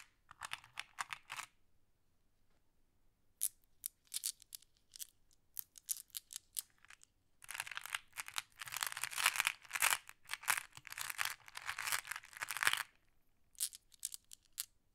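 Fingers with long nails pick through a pile of small, solid, flat glass decorative pebbles and shuffle a handful. Bright, sharp glass clicks come in short scattered bursts, then build into a dense, continuous clatter in the middle of the clip before thinning out again.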